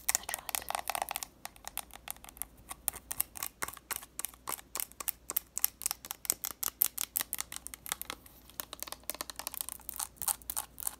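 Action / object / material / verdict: tap / plastic bottle partly filled with liquid / plastic / none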